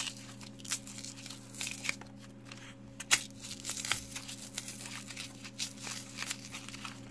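Gloved fingertips squeeze, rub and press a hand-sized, solid, rectangular mint soap bar sealed in glossy green plastic film, with loose carved soap cubes lying untouched on the table around it. The plastic gives off bright, dry crinkles and crackles, with scattered sharper snaps over a faint steady low hum.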